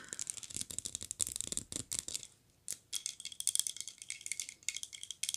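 A small glazed ceramic polar bear figurine in a red Santa suit is held upright and turned over while being tapped with long nails. The result is rapid, bright, dry clicks with almost no ring, rattling in quick bursts, with a brief quiet pause midway before the tapping resumes.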